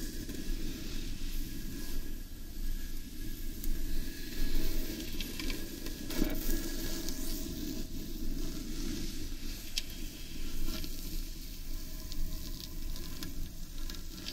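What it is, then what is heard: Wooden bowl being scratched and tapped. Long painted nails scratch and tap the outer surface of a large, hollow, carved wooden bowl turned upside down. The result is a dense, continuous, low, hollow scratching texture with a faint bright hiss on top. Occasional sharper taps rise briefly above the steady rubbing.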